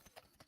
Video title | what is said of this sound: ⚔️IMPERIUM ROMANUM TE REQUIRIT⚔️ por Sergio Alejo Gómez | si escucháis que se mueve así hace este ruido